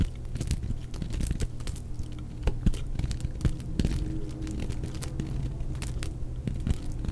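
A solid, dry white bar of soap, already partly carved into facets, is held in the hand and cut and shaved with a utility knife blade. Short, crisp scraping and crackling cuts sound repeatedly over a steady low rumble, each stroke dying away almost at once.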